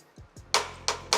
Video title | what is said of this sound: Setelah Handover Lakukan hal ini dahulu, claim garansi unit | ini kopong nih gini ya, suaranya beda